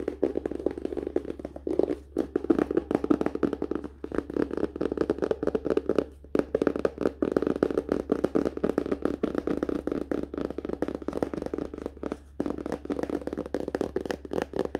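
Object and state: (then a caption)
Hardcover book. Fingertips and nails tap quickly along the spine and cover edges of a closed hardcover paper-and-cardboard book held upright. The rapid, dry, short clicks have a muted midrange body and carry on almost continuously for about 15 seconds, with only brief pauses between bursts.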